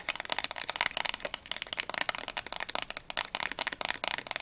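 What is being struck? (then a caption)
Small closed cardboard candy box. Long nails tap quickly on the front, sides and edges of a small, closed, printed cardboard Ahoj-Brause candy box, hollow with its contents not visible. The result is a rapid, uneven stream of dry, bright clicks and light papery knocks, each dying instantly with almost no low end.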